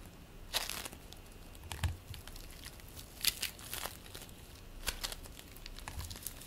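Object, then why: Polystyrene-bead play foam. Fingers squeeze and pull purple play foam made of polystyrene beads, giving bursts of bright, crinkling crackle. The short, crisp crackles come in irregular clusters over a quiet low rumble.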